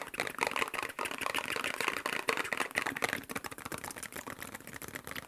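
A small, hollow printed cardboard medicine box with a blue and white shield-and-cross logo is held in both hands and tapped fast with fingertips and nails. The result is a dense stream of quick, dry clicks and taps with almost no low end, mostly mid-range with a bright edge. Each tap dies away almost instantly.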